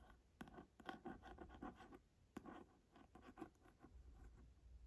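Quiet, dry nail scratches and soft taps on a leather-bound book cover, short and dead with no ring.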